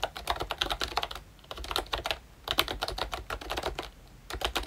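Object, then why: Plastic membrane keyboard. Fingertips of both hands type on a ROYCHE Disney Mickey Mouse retro plastic membrane keyboard with round brown keycaps, a pink frame and a Mickey badge. Quick bursts of soft, bright clicky taps come in runs, separated by brief pauses.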